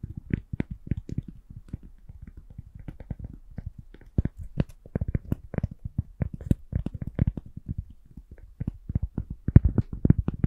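A round, solid, thin cork coaster held in both hands is tapped with long nails. About 40 short, dull, low-pitched taps die away almost instantly, some spaced slowly and others coming in quicker runs.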